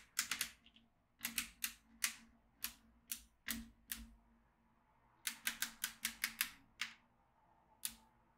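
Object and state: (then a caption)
Magnetic drawing pad with steel beads. A yellow magnetic pen is drawn over the grid of a black plastic magnetic drawing tablet filled with steel beads, pulling the beads up with sharp, bright clicks. About twenty short, dry clicks come in quick clusters separated by brief pauses, each dying away almost instantly over a faint low hum.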